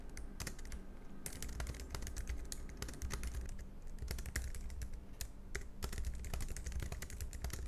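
Fingertips type fast and continuously on a compact black plastic low-profile Logitech MX Keys Mini scissor-switch keyboard, producing a steady stream of short, soft clicky taps with bright, quick-decaying transients. A constant low hum sits underneath the typing throughout.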